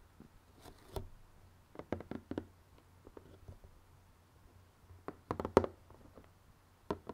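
Fingernails scratch and tap on the lid of a closed, printed cardboard jigsaw puzzle box resting on a red table. Quiet, dry, short taps and soft scratches come in scattered clusters over a faint low hum, with the sharpest taps landing near the middle and end.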